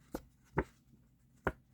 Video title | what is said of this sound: Try Something New Tuesday May 20, 2025: Part 2 Making Cardstock From Book Pages | maybe you can hear it sounds like cardboard